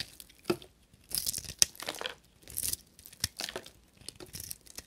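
A carving knife blade shaves and scrapes a small, solid bar of dry blue and white soap held in the fingers, peeling off flaky curls. Short, dry, crackly scraping bursts with a bright, papery texture come one after another, separated by brief quiet gaps.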